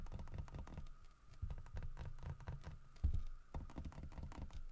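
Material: Wood.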